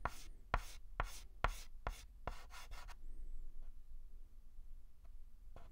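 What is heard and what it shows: A white chalk stick is scratched and rubbed across a large flat blackboard while writing a letter, producing a run of sharp, dry taps and bright scraping strokes over the first three seconds. After that, the sound drops to a quiet hiss with a few faint, scattered scratches toward the end.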